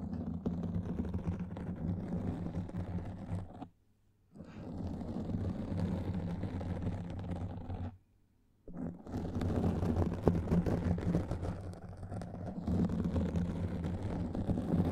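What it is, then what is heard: Foam microphone windscreen being scratched. Long painted fingernails of both hands scratch and rub a soft, porous black foam windscreen over a large microphone. The result is a dense, muffled, low crackling and rustling. It stops twice, briefly, around 4 and 8 seconds, then resumes.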